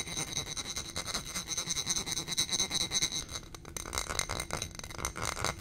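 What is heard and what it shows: A small footed glass coupe candle holder with a gold stem, filled with white wax candle, is tapped and scratched with long painted nails. Quick, uneven taps mix with bright scratching, with a high glassy tone and almost no ring after each hit.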